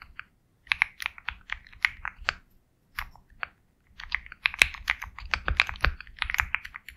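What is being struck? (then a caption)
Mechanical keyboard with plastic keycaps. Fingertips type steadily on a compact 65% Sugar65 mechanical keyboard with KTT Kang White switches, a black case, and white and black plastic keycaps. Short, bright keystroke clacks come in quick bursts separated by brief pauses, each tap dying away almost instantly.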